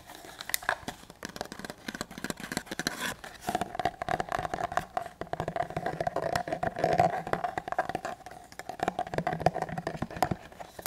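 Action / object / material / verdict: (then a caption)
tap / leather duty holster / leather / none. Fingertips rapidly tap and scratch along the body of a larger, empty, hollow black leather duty holster held upright in both hands. The result is a dense stream of short, dry taps mixed with soft scraping, over a faint steady tone around 720 Hz.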